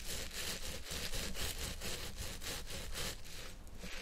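A long purple synthetic-fibre wig is scratched and massaged with the fingertips and nails of both hands. The result is a steady, rhythmic, scratchy rubbing with regular bright, airy strokes over a low, dull rumble that continues without pause.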